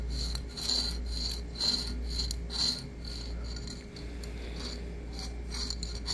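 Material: Cork.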